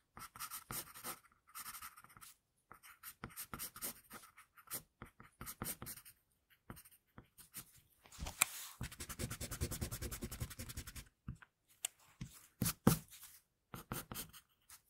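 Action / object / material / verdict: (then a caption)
scrape / pencil lead on a paper sheet / paper / none. A flower-patterned HB pencil held in the fingers scratches fine lines across a flat sheet of drawing paper. Short bursts of dry, papery scratching come in quick strokes with brief pauses. Around the middle comes a denser stretch of rapid back-and-forth scratching before the separate strokes return.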